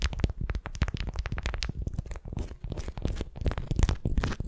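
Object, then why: Beeswax-coated cotton wrap over a wooden ball. A candy-shaped wrap of beeswax-coated cotton around a wooden sphere is gripped and twisted with long nails. It gives a dense run of crinkling, crunching bursts, with heavy low rumble underneath and bright crackle on top.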